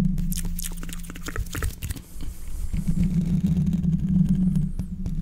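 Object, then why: Steel mesh microphone grille. Fingertips of both hands quickly scratch and rub the hollow steel mesh grille of a large condenser microphone. Fast, irregular scratchy bursts flick across the highs over a dense, boomy low rumble with a steady low tone. The sound dips briefly near the two-second mark, then settles into a heavier, continuous rubbing.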